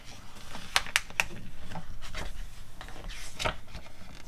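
Long nails tap and scratch across the pages of an open glossy paper magazine catalog and turn them. Three quick, bright, crisp taps come early, followed by dry scratching and rustling, with a louder swishing page sweep near the end.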